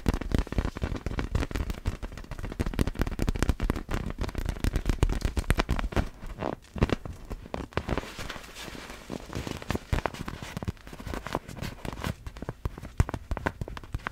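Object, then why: Inflatable clear vinyl ball with glitter inside. Long black fingernails tap and scratch a large, hollow, clear vinyl inflatable ball with glitter inside. The result is a dense, rapid run of short, crackly taps with a low, hollow thump around 90 Hz and almost no high-end ring. Each tap dies away almost instantly.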